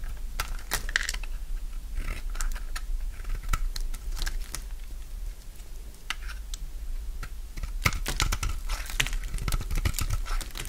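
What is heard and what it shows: A utility knife blade shaves the face and edges of a dry, solid pink bar of soap held in the hand. Crisp, crunchy scraping and cutting strokes come in quick bright bursts over a steady low hum.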